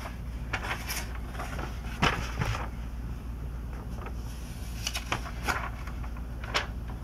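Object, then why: Glossy paper magazine. Fingers flip and curl the thin glossy pages of a 2002 Sports Illustrated magazine, producing soft, bright crinkles and page rustles with a few sharper snaps. A steady low hum runs underneath throughout.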